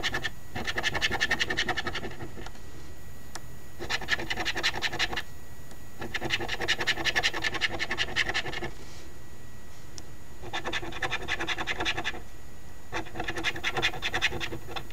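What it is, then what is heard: Scratch lottery ticket being scraped. The edge of a coin scrapes the latex panels in the right column of a flat cardstock $5 Ontario Lottery OLG "Very Merry Multiplier" instant scratch lottery ticket. Five bursts of fine, rapid scraping come with short pauses between them, giving a bright, gritty rasp centered around 2 kHz over a low, steady background.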